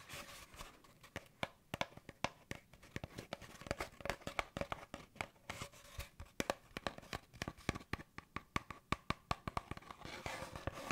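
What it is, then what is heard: Cardboard tube, hollow. An empty, hollow brown cardboard paper towel roll tube is moved around a microphone while fingertips and nails tap and scratch it. The result is a quiet, steady stream of short, dry tapping clicks over a soft scratching hiss, with some crinkling.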